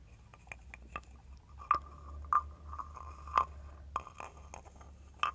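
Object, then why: Carved wooden frog guiro scraped with a stick. A wooden stick is scraped along the ridged back of a hand-held carved wooden frog guiro. Short, dry rasping strokes and clicks carry a croaking tone around 1.2 kHz, with a few louder strokes standing out. They play over a quiet low hum.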